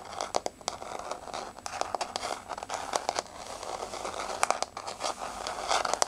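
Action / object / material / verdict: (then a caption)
tap / laminate floor / laminate / none. Long blue-grey nails tap and scratch on a flat, solid wood-look laminate floor with a wood-grain pattern, making quick, dry clicks mixed with crinkly scraping. The sharp taps come irregularly throughout, with bright, papery scratch texture in between and almost no low end or ring.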